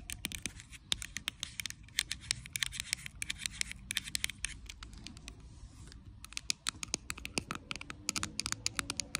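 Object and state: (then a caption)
Plastic bottle of liquid tapped with nails. Long acrylic nails tap and scratch the body and pink cap of a small, clear plastic Bioderma micellar water bottle that is full of liquid. Rapid, sharp, bright clicks come in quick irregular bursts over a soft, continuous scratching rustle, with a brief quieter lull partway through.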